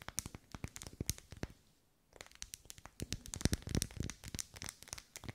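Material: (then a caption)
Wax. Long pale nails tap and scratch the vertical ribs of a lit pink pillar candle of solid wax, held close. Quick, irregular clicking taps mix with dry scratchy crackle and a bright edge, with a brief silent pause before the tapping resumes more densely.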